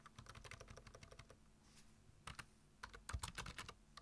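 Fingertips type on a black plastic computer keyboard, tapping the keys in a quick run of crisp clicks, each with a soft low thud beneath it. After a brief quiet pause, the typing resumes in short bursts that grow slightly louder toward the end.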